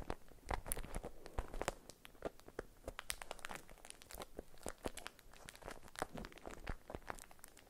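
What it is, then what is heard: Beeswax-coated cotton food wrap. A beeswax-coated cotton food wrap is unfolded and crinkled between the fingers. It makes a quiet, steady run of stiff crackles and crinkles, with frequent sharp, bright snaps that die away almost instantly.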